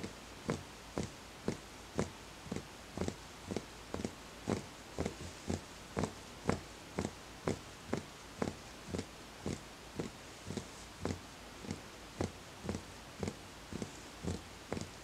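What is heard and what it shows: A fingertip taps the outer wall of a small, empty, hollow wooden bowl in a steady rhythm of about two taps per second. Each tap is a short, dry knock with a low hollow body and a bright click that dies away almost at once.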